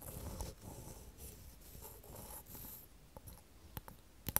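Long false nails tap and click along a small, light, hollow wooden square frame held in the hand. Soft, continuous scratchy rustling fills the first few seconds, then gives way to a handful of sharp, separate clicks near the end. The whole clip is quiet and close.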